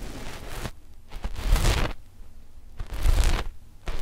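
Long fingernails of both index fingers scratch a flat, dark black knit fabric sheet stretched over left and right microphones. Rough, rasping bursts of scratching with a heavy, muffled low rumble and a bright hiss come in uneven strokes, separated by short, quieter pauses.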